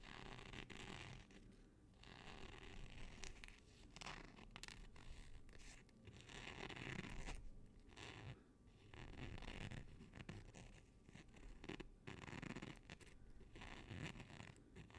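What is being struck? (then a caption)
Nylon hook-and-loop fastener patch. Fingertips and short nails scratch across the hook side of a small, flat, black nylon hook-and-loop (Velcro) patch made of thin fabric and held up in both hands. The result is a quiet, continuous, zipper-like rasp that swells and fades in repeated strokes, with most of its energy low and a bright scratchy edge on top.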